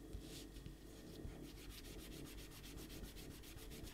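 A rubber eraser is rubbed back and forth across pencil shading on a stack of white printer paper on a table, while the other hand holds the paper steady to erase the drawing. It makes a quiet, steady scratchy rubbing with a low rumble underneath and bright, rhythmic strokes that grow more regular as it goes.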